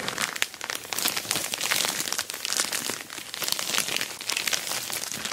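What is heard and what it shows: Long black nails scratch while fingertips rub and squeeze an orange glossy plastic Temu shipping bag wrapped around a rectangular box holding a dual camera dash cam, resting on a table. Dense, bright crinkling and scratchy rustling runs steadily for about five seconds with sharp little clicks and almost no low end.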